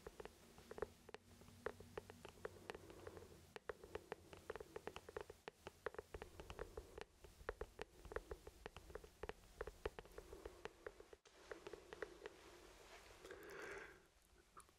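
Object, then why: Plastic traffic cone. An orange hollow plastic traffic cone is held close to the mic and tapped and scratched with the fingertips. A quick, uneven series of short, dry taps rings with a hollow plastic tone around 430 Hz over a faint low hum. Near the end, the tapping gives way to a brief, brighter scratching swell.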